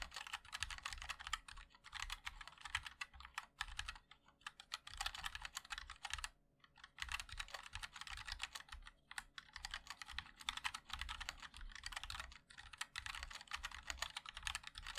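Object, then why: Mechanical keyboard with plastic keycaps. Fingertips of both hands type continuously on a compact 60% MOD-L mechanical keyboard with a black case, white and black plastic keycaps and linear switches. Rapid, crisp clicks and clacks ring with a bright tone around 3.6 kHz over a soft low thud, with brief pauses near 4 and 6.5 seconds.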